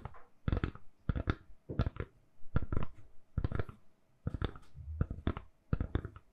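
A hand-sized, hollow lilac silicone/plastic phone case is held in both hands and tapped and scratched with long manicured nails. Quick clusters of dull, soft clicking taps come with short, dry decays, and quieter scratchy rasps fill the gaps between them.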